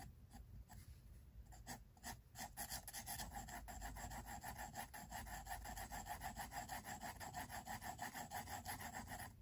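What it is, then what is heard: Pencil shading on a sketchbook page. A pink mechanical pencil, held in the fingers, scratches and rubs across the thick white paper of a large spiral-bound sketchbook lying flat on a wooden table, shading a drawing with short, dense strokes. The strokes come as a quick, fairly steady papery rasp, about three per second, with a mid-range scratch and a faint bright hiss. They start sparse and grow into a continuous run.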